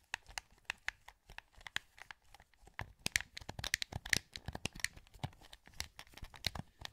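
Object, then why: Plastic game controller. Thumbs and fingertips click the buttons of a hollow, translucent green plastic PS2 wireless controller held in both hands. A rapid, irregular run of short, dry plastic clicks and taps with bright, crisp attacks dies away almost instantly. The clicks come in quick clusters that vary in loudness, all heard close up.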